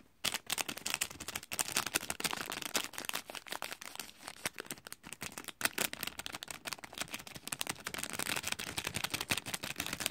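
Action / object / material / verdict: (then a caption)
scrape / thin cellophane plastic film / cellophane / none. Fingertips crinkle and squeeze thin, clear cellophane gift wrap covering a heart-patterned gift in a pink zippered bag. The result is dense, bright crackling and rustling that runs almost continuously for about ten seconds, made of sharp snaps with very little low end.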